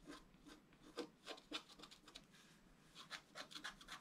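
A thin wooden stylus scratches across a flat black-coated scratch-art card held down by one hand. Quiet, dry, rasping strokes come in an irregular rhythm, each a short bright scrape with a brief rub in between. There are busy bursts near the start and end and a softer pause in the middle.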